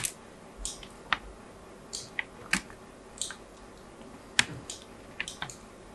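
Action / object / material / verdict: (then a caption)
scrape / bar of soap cut with a small metal blade / soap / none. A small metal blade cuts diagonal scored lines into the surface of a solid white bar of soap held in the hand. Short, dry, bright scratching and scraping strokes come at an uneven pace over a quiet background, each ending almost at once.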